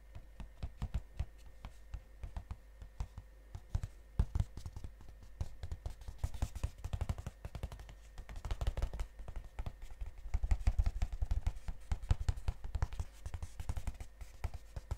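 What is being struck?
Cardboard chocolate box.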